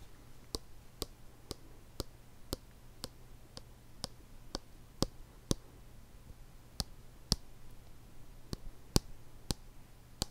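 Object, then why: Plastic lotion bottle. A white plastic lotion bottle with a blue cap is held by the body while its cap and sides are tapped slowly with a fingertip and nail. About 17 short, bright, dry clicks fall at a steady, unhurried pace, each dying away almost instantly, with a pause after the middle. A faint, steady low hum sits underneath.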